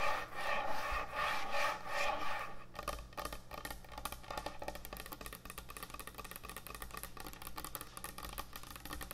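Long nails scratch and tap fast across a large, thick, solid end-grain hardwood butcher block cutting board. It opens with loud, rhythmic rasping strokes. After about three seconds these give way to a rapid, dense patter of short, dry taps and clicks over a steady low hum.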